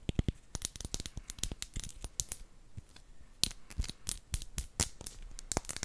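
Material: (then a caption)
Glass. A clear, round glass potion bottle with a cork stopper, hollow and empty, is held in one hand and tapped with the long nails of the other. A quick, irregular run of light, clicky taps follows, each with a bright, high glassy tick that dies away almost at once.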